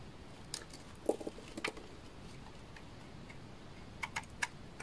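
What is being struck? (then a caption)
Bar of laundry soap scraped with a knife blade. A utility knife blade scrapes curled shavings off a solid bar of dry orange laundry soap. Short, crisp, dry scraping ticks come in two clusters, near the start and near the end, with bright edges, little ring, and quiet background hiss between them.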